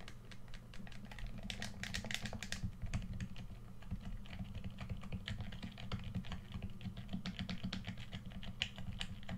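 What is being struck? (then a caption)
Plastic game controller. Fingertips rapidly click the buttons and sticks of a hollow red plastic PS4 controller held in both hands. A dense stream of short, bright plastic clicks and taps runs throughout, over a steady low hum.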